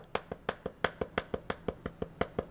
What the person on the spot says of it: it's not glass but it's plastic it's hard plastic